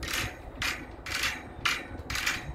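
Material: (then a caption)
Metal. A metal parking lot light pole is shaken by hand so the loose wiring inside bounces against the pole walls, giving repeated bright, hollow metallic rattles in short bursts. The loose wires are not normal: wind makes such wires chafe and burn up over time, though none in this lot have failed yet and the wires were not inspected.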